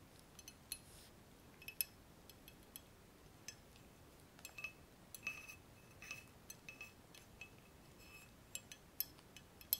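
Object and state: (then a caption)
Glass laboratory tube adapter. A long, clear, hollow, empty glass laboratory tube adapter with frosted ground-glass joints at both ends rests on bubble wrap and is tapped with fingertips and nails along its length. Many quiet, bright, glassy clinks and ticks come at irregular intervals, each dying away almost instantly over a soft background hiss.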